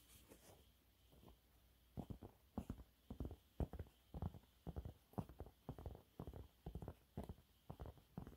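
A yellow waffle-textured cleaning cloth is held upright while both hands scratch it quickly with their nails. After a quiet, faintly rustling first two seconds, it makes a steady run of soft, dry, low scratching bursts in an uneven rhythm.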